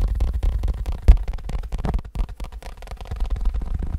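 A leather wallet is tapped rapidly, producing a fast, steady stream of soft, dull thuds. The sound is almost entirely low-frequency, with no brightness, and each tap dies away almost instantly.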